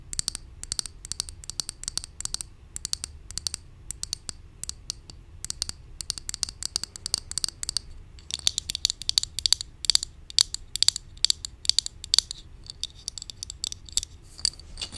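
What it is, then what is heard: Plastic cosmetic bottle tapped with fingernails. Long nails rapidly tap and scratch a hollow pink cosmetic bottle with a clear cap, likely plastic, held in both hands. The result is a steady stream of very short, crisp, high-pitched clicks and scratchy ticks with almost no low end, growing busier and denser in the second half.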